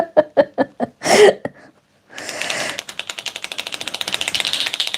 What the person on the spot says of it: you can hear it sounds really good when you shake it